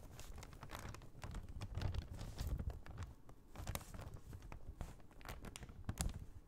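An empty brown kraft paper shopping bag with a red Michaels print is held up and tapped and scratched with long painted nails. Soft, quiet paper crinkles and scratches mix with a steady run of sharp, bright taps over a low, dull rustle.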